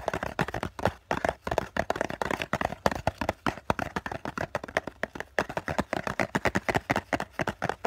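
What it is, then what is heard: Cardboard tissue box. Fingertips of both hands tap fast on the flat face of a hollow COCON cardboard tissue box, close up. About 46 short, dry, hollow taps come in quick, uneven bursts, each with a muted midrange knock around 550 Hz that dies almost instantly.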